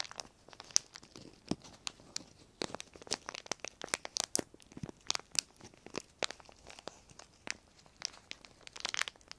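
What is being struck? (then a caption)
Thin clear plastic sheet. A small crumpled piece of clear plastic sheet is held in both hands while the fingertips squeeze and crinkle it. A dense stream of quiet, sharp, bright crackles and snaps comes in irregular bursts, each dying away at once with almost no low end.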